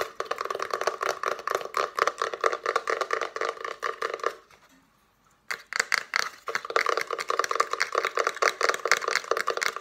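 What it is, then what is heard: Wooden slatted box. Long nails tap and scratch rapidly on the ridged slats of a small hollow box made of layered plywood slats, with a paper card sticking out of the top. The result is a dense stream of dry, crisp clicks and rasps, centered in the mids and upper mids with almost no low end. About halfway through, the sound stops for roughly a second, then the fast tapping resumes.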